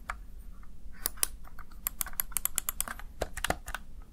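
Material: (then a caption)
Plastic. The keys of a small backlit plastic Razer Tartarus Chroma gaming keypad are pressed and tapped by the fingertips and nails of one hand. The result is a quick, irregular run of sharp, bright plastic clicks and taps over a faint low hum, each snapping off instantly.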